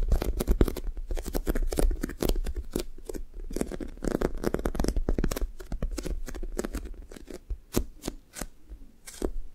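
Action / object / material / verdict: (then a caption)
tap / foam squishy toy with sticky top / foam / none. Long nails and fingertips tap, poke and scratch a thick, soft, solid foam toast squishy toy with a sticky blue top. The result is a rapid run of short, dry, crackly clicks and scratches with a steady low rumble underneath.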